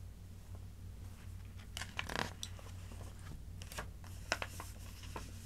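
Fingertips with long dark nails rub and smooth the open pages of a Reader's Digest magazine made of thin glossy paper, shown closed and then opened flat on a fabric tablecloth. Soft, bright paper rustles and crinkly scratches come in short bursts over a steady low background hum, with no ring after each stroke.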